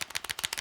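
A quick run of sharp, bright clicks as a small plastic tube is shaken, its loose mixing ball rattling inside.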